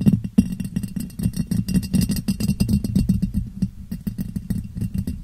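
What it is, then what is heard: Ribbed glass jar. A clear, hollow, empty ribbed glass jar is turned upside down over a microphone and tapped and scratched on its sides with long painted nails. The result is a rapid, steady stream of short, dull clicks and scratches with a low, boomy resonance around 190 Hz. Each tap dies away almost instantly.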